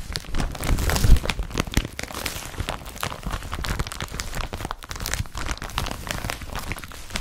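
An empty blue woven polypropylene IKEA BRATTBY carrier bag lies flat while both hands scratch and rub its surface with fingertips and nails. The result is a dense, crinkly, rasping scratch with a low rumbling body, swelling louder near the first second before settling into steady, even rubbing for the rest of the clip.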